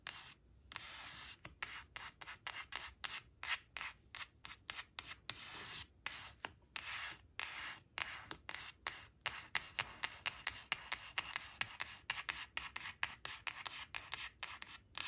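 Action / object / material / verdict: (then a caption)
scrape / coated paper card / paper / none. Long fingernails on both hands rub and scratch across a thin, coated paper flash card printed with "4 four," lying flat on cloth. The result is a rapid series of short, dry, bright scratching strokes with quick stops between them and almost no low end.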